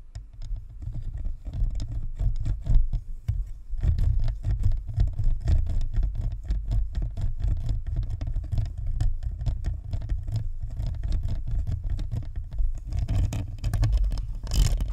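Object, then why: Plastic spherical microphone shell and grille. Long nails tap and scratch the top of a hollow, white plastic spherical microphone's shell and grille. The result is a steady stream of quick, muffled low thumps and fluttering pats with almost no high end, and a brief brighter scratch near the end.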